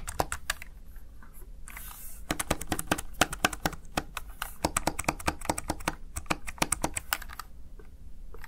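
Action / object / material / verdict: tap / plastic gaming keypad keys / plastic / none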